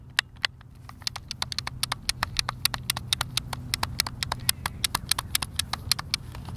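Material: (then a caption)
Plastic. Thumbs click and tap the face buttons of a hand-sized, hollow, white plastic Xbox controller, giving dozens of sharp, bright, dry clicks in an irregular, quick rhythm. Each click stops almost instantly, over a faint low hum.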